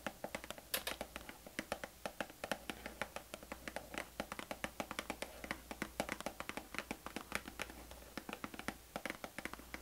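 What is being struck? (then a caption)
Cardboard tea box. Long nails tap rapidly and steadily on the front panel of a hollow, rectangular printed cardboard herbal tea box held up in the air. Each tap is a short, dry, papery click with a hollow mid-range knock around 555 Hz and a bright tick on top, dying away almost instantly. A faint low hum runs underneath throughout.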